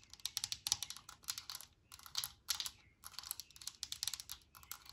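Long nails tap rapidly on the white plastic cap on top of a Lysol aerosol can standing on a table. The sharp, bright plastic clicks come in quick clusters with brief pauses between them, and each tap dies away almost instantly with very little low end.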